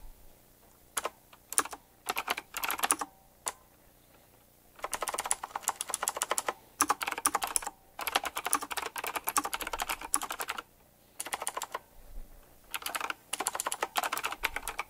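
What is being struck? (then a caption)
Mechanical keyboard with round plastic keycaps. Fingertips type quickly on a full-size typewriter-style mechanical keyboard with round black plastic keycaps, chrome-look rims and a metallic frame. Bursts of rapid, bright, sharp clicks with almost no ring come in several runs, separated by short quiet pauses.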